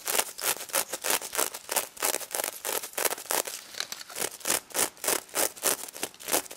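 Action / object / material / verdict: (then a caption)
scrape / plush toy covered in plastic sequins / plastic sequins / none. Long red nails scratch and rub the plastic sequins covering a stuffed pig toy, making quick, bright, rustling scrapes. The strokes repeat in a fast, loosely regular rhythm, with no low end.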